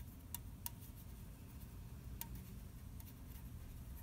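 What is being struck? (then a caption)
Unopened aluminium soda can. A fingernail taps the printed side of an unopened red aluminium orange soda can held in the hand. A few sparse, quiet, sharp ticks each carry a brief metallic ping near 950 Hz with a bright click on top. A steady low rumble sits underneath throughout.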